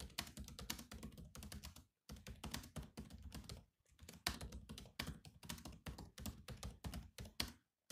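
Fingertips tap the black plastic keys of a grey laptop keyboard while typing, producing rapid, clicky keystrokes with a low, soft thump under each bright click. The typing runs in quick bursts, with brief pauses near two and four seconds and a short silence just before the end.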